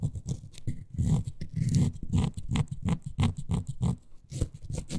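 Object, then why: Miniature faux suede toy sofa. Long nails scratch and rub the fabric-covered back and arms of a small, miniature beige faux suede toy couch. The result is a steady run of soft, muffled scratching and brushing strokes, mostly low and dull with faint bright edges, rising and falling in quick bursts.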